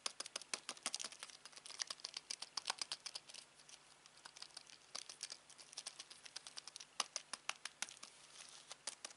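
A black plastic Samsung TV remote, hollow with rubber buttons, is held in the hand while fingertips press and tap its buttons. Dozens of quick, dry, bright clicks and taps come in irregular bursts with short pauses. Each click dies away almost instantly over a faint steady hum.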